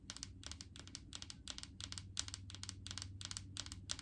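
Long painted fingernails tap quickly and steadily on the labeled side of a large, clear plastic jar full of coconut oil. The taps are quiet, short and bright, with crisp clicks that die away almost at once, coming in rapid pairs over a low, steady hum.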